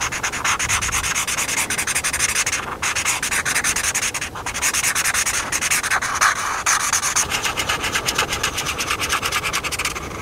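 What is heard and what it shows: A felt-tip marker is rubbed and scratched rapidly back and forth across the thin paper of a camper page in a paper coloring book as a hand colors it in. The result is a steady, bright, dry scratching hiss made of quick, closely spaced strokes, with almost no low end and only a couple of brief dips in the motion.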